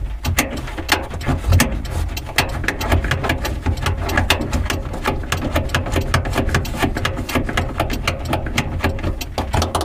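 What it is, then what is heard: Plastic car dome light cover. Fingertips and nails tap, scratch and press around the edges and housing of a small, lit, hollow translucent plastic car dome light cover on the interior ceiling. The result is a steady stream of quick, dry plastic clicks and scrapes with bright ticks over a low rumble, each tap dying away almost instantly.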